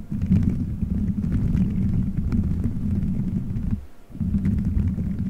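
Fingertips squeeze, rub and scratch colorful gelatin gummy bears stuck all over a microphone head, forming a solid dome. The result is a dense, muffled, low rumbling squish with faint crackly ticks on top. It drops away briefly near the four-second mark, then resumes.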